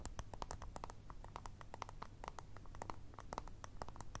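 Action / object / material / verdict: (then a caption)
tap / small round plastic remote control / plastic / none. A small, hollow, round white and grey plastic remote puck, held in both hands, is tapped rapidly with long red nails. The result is a quick, uneven patter of short, dry, hollow clicks centered around 900 Hz with bright edges, over a steady low hum.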